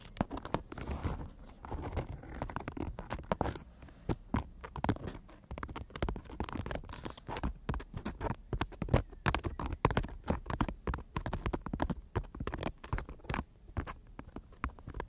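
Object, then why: Emery board nail file. Long natural nails tap and scratch the abrasive surface of a long, thin emery board nail file held horizontally in both hands. The sound is a dense run of quick, dry clicks and gritty scrapes. It sits mostly low with faint bright edges, and each hit dies away almost at once.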